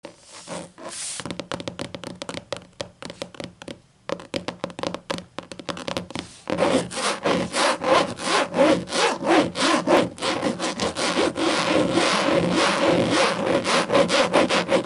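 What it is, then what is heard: Leatherette-covered hardcover book. Long green and black matte acrylic nails scratch and tap across a thick closed hardcover book with a black textured leatherette cover and a zippered edge, lying flat. Quick rasping strokes and soft taps repeat at a brisk, uneven rhythm, starting quieter with short pauses, then growing louder and denser after about six seconds, with a dry, bright scratchy texture and little low end.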